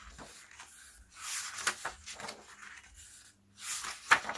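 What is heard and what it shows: Fingertips turn the paper pages of a hardcover album photobook lying open on a black cloth, one by one, smoothing each page flat. Soft, bright rustling and brushing swells come in waves, with a few sharper paper snaps, the loudest near the end.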